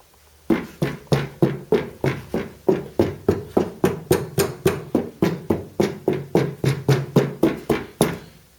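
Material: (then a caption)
Steel. A steel scuttle panel for a VW T25/T3 bus, with flashing tape stuck to its underside as sound deadening, is tapped 27 times in a steady rhythm. Each tap gives a dull, damped knock centred around 390 Hz that dies away almost at once, in contrast to the panel's tinny sound before the tape was added.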